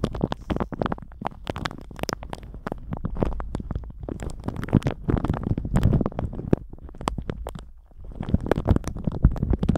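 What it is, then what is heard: Plastic shower cap crinkled. A thin plastic shower cap stretched over a microphone is squeezed and crinkled with the fingertips of both hands. The result is a dense, continuous run of sharp crackles and rustles, heavy in low rumble with bright snaps on top, that briefly thins out just before the 8-second mark and then picks back up.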